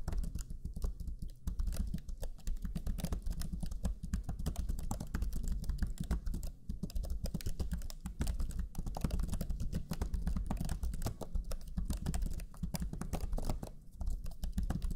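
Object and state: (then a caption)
Plastic laptop keyboard. Fingertips of both hands type rapidly on the low-profile plastic chiclet keys of a black Lenovo Legion 5 laptop keyboard. The result is a steady, dense stream of quick key-press taps, soft and low-heavy with short, dry decays and brief pauses between bursts.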